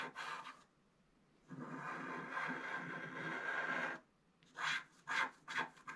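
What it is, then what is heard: Scratch art card scratched with a wooden stylus. A wooden stylus scratches long strokes along the right border of a flat scratch art card of black coated paper, making a dry, raspy scraping. A brief stroke is followed by a pause, then one long sustained scratch, then three short, separate strokes.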